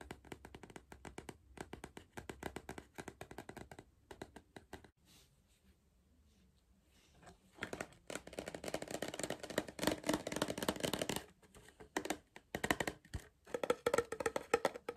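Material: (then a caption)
Cardboard. A hollow cardboard Pringles tube with a metal base, held in one hand, is tapped with short fingertips along its printed side and then on the metal bottom. Quick, dry, hollow taps come in irregular bursts, go quiet for a few seconds, then return louder and denser before thinning into scattered taps.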